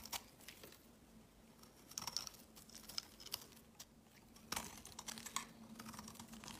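A utility knife blade scrapes and shaves a solid white bar of soap, producing flaky shavings. The result is a quiet series of short, crisp, bright scraping and crackling strokes, with a faint steady low hum underneath.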